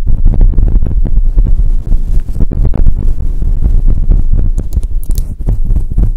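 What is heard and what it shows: Fingers with long nails grip and rub a grey and white fluffy faux fur microphone windscreen covering a microphone. The result is a dense, deep, muffled rumbling and thumping, with rapid short bursts packed closely together and only faint bright crackles above.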